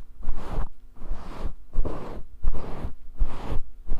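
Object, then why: Synthetic fur microphone windscreen. Fingertips and nails scratch and brush through a fist-sized grey faux fur microphone windscreen held up close. The result is repeated bursts of dense, crackly rustling under a heavy low rumble, with short quieter gaps between strokes.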